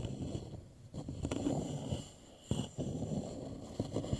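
One hand taps the fingertips on the surface of an upside-down, hollow, polished wooden bowl. The taps are soft, low, hollow knocks that die away almost at once. Between them there is a steady low rustle of fingers moving over the wood.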